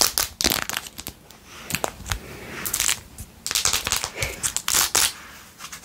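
Long nails scratch quickly across the edge and back of a blue-jeweled, rhinestone-covered glitter plastic phone case. The result is a run of bright, crisp scratching and crackling bursts, mostly high in tone with almost no low end. Short, dry strokes are separated by brief quieter gaps.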